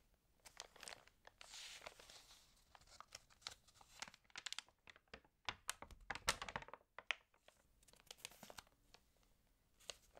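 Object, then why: Glossy paper magazine pages. Fingertips rub the glossy paper of an open, water-damaged magazine lying on a full-page ad, then turn the page. The result is quiet, bright, dry crinkling and rustling made of many short, irregular crackles. A louder burst of crackle comes as the page is turned.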